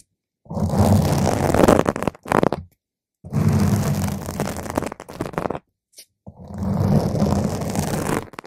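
Slow scratching with one or two long nail tips across the top of a round purple foam microphone cover. The result is dense, rumbling, low-heavy scraping in three long bursts, separated by short gaps and brief scratches.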